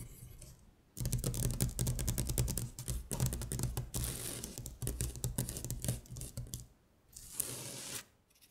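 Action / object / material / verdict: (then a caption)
scrape / paper worksheet tapped and scratched with long nails / paper / none. Long stiletto acrylic nails tap and scratch rapidly across a thin printed paper worksheet of Korean color words lying flat on a glittery surface. After a quiet first second, a dense run of quick, crisp taps and bright papery scratches fills most of the clip, then pauses briefly before a short final burst of scratching fades out.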